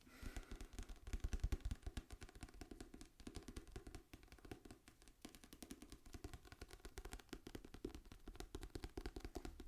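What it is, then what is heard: Tapped book. Fingers tap rapidly and continuously on a library copy of the novel Dune Messiah. The many soft, dull, low taps blur into a steady patter that sounds like rain, with almost no ring after each hit.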